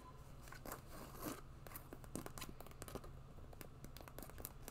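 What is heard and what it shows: A white quilted faux-leather boot with a fur cuff, hollow and empty, is held in one hand while long nails scratch and tap along its side. The result is a quiet, dense run of short, dry scratches and clicks with bright crinkly edges over a low steady hum.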